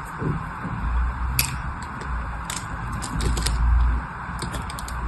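A blade carves and scrapes the edges of a solid blue bar of soap held in the hand, breaking pieces off. Crisp, bright scratching clicks come in scattered bursts over a low rumble and a steady mid-range hiss.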